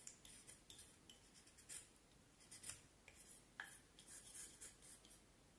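A small knife blade whittles along the side of a solid, curved vine wood branch about forearm length, making repeated short scraping cuts. About a dozen quiet, bright, rasping strokes are heard, each with a brief dry edge and a quick fade.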